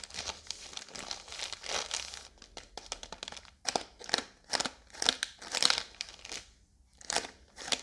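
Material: Plastic film.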